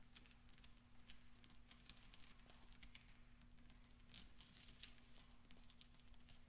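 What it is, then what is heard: Steel pachinko balls. Fingertips roll small, solid steel pachinko balls across black velvet and clink them together. Soft, bright metallic ticks and brief rolling clinks patter at a quiet level over a steady low hum.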